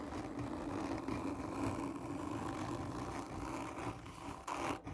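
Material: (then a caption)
Cardboard. Long nails on one or two hands scratch hard and slow across the textured surface of a hollow black cardboard gift tube. The result is a steady, dense scraping rasp with a low, hollow body, rising into a brief, brighter, louder scrape just before the end.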